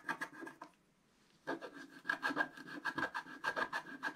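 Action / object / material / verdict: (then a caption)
scrape / scratch-art paper scratched with a wooden stick / coated paper / none. A wooden stick scratches the stocking cuff area on a flat, black-coated scratch-art paper sheet held flat by hand. Quick, rasping strokes come in short bursts with a steady squeaky tone near 1.7 kHz and a bright edge. A brief quiet pause separates an opening flurry from a longer run of scratches.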